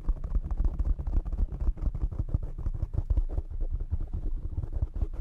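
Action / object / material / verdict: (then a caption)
scrape / foam microphone windscreen / foam / none. Short nails of both hands rapidly scratch the black foam windscreen on a desktop microphone. The result is a dense, muffled, low rumbling scrape with quick thumping pulses and almost nothing bright above.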